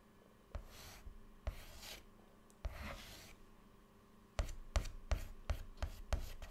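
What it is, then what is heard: Chalk scratching on a chalkboard. White chalk held in the fingertips draws a small flower and a heart on a flat black chalkboard panel. A few longer, hissy scraping strokes are followed by a faster run of sharp, short scratches, each with a soft low thump and a bright rasp that stops almost at once.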